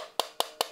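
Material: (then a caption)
Plastic. Three sharp taps on the plastic body of an Elegiant K380F UHF wireless microphone give short, dry knocks with a mid-range tone around 680 Hz and a bright click. Each knock dies away almost at once. Although the body is partly hollow inside by design, it does not sound very hollow, barely deforms when squeezed hard, and has a metal ring, so it comes across as well made.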